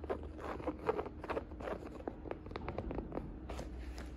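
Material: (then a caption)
Canvas fabric. Fingertips and nails tap and scratch the curved fabric side of a hollow, navy and beige woven jacquard canvas saddle purse. The result is a quick, irregular run of short, dry, muffled taps with soft scratching in between, over a steady low background hum.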